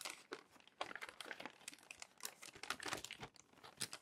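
Fingertips turn and flatten the wrinkled pages of a crumpled glossy paper magazine resting on a desk. Dense, bright crinkling and crackling rustles come in quick bursts with almost no low end, giving a continuous crisp paper texture.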